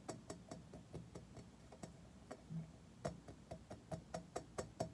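Fingernails tap on an unidentified metal surface in quiet, sharp ticks: about 14 short, dry taps at an uneven pace. Each carries a faint metallic ring near 645 Hz over a soft low rumble.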